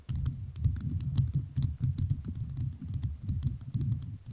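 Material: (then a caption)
Rhinestone. A microphone fully covered in rhinestones is tapped with fingertips whose nails are also covered in rhinestones. The result is a rapid, continuous run of crisp, clicky taps with a dull, low thump under each one.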